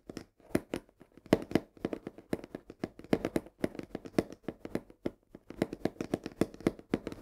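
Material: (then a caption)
Cardboard. A full 1 kg cardboard box of coarse salt, held tilted, is rapidly tapped and scratched with long nails along its edge and side. The result is a fast, irregular run of short, dry, papery taps and scrapes centered in the low mids, each dying away almost at once.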